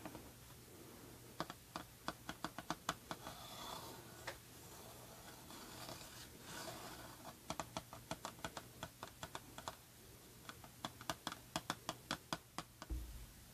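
Long painted nails tap and scratch the front of a small, hollow, embossed cream cardboard Prada perfume box held upright. Bursts of a few dozen quick, dry, bright clicks that stop almost instantly alternate with soft scratchy rasping over a faint steady low hum. The clip ends with a dull low thump.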